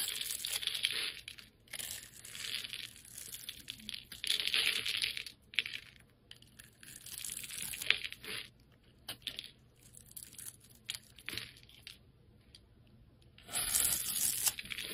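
A steel utility blade cuts scored cubes and shavings off a solid, hand-sized, light blue rectangular bar of soap held in the hand. Bright, crisp scraping and crumbly crackling come in irregular bursts separated by short quiet pauses, with a final louder stretch of cutting at the end.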